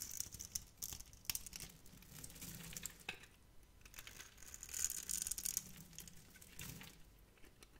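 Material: Soap.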